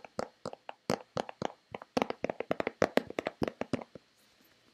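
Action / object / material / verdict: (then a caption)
tap / plastic lotion bottle / plastic / none. Long red-painted nails tap and scratch a hollow white plastic Nivea lotion bottle in a fast, uneven run of about 25 quick, dry clicks with a hollow midrange tone. Each click dies away almost at once, and the tapping stops briefly near the end before one last tap.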